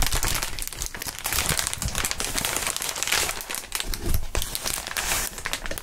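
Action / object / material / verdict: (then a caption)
scrape / inflatable plastic air-column packaging / plastic / none. Clear plastic inflatable air-column packaging with hollow tubes is bent and crinkled by gloved fingertips. A steady stream of dense crinkling and crackling runs through the clip, with bright, sharp snaps over a low, soft rumble.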